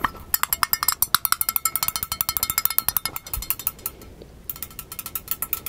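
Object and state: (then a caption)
Empty plastic bowl. A small, hollow, empty magenta plastic bowl is tapped and scratched very fast with the fingertips and nails of both hands in front of the microphone. It gives a rapid stream of short, bright, clicky hits with a faint plastic ring around 1.3 kHz and almost no low end.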